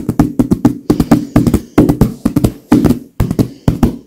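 Both gloved hands tap and pat quickly on a large, filled white leather pillow with long nails and fingers. The result is a fast, uneven run of short, dull taps with a soft low-mid body, crisp nail clicks at the start of each touch, and almost no ring afterward.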